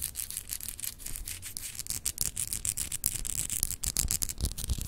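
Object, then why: Solid glass globe paperweight. Long acrylic nails scratch across a small, solid, clear etched glass globe paperweight. Quick, repeated strokes make a dry, bright, raspy scratching with a faint low rumble beneath. Each stroke stops short with no ringing.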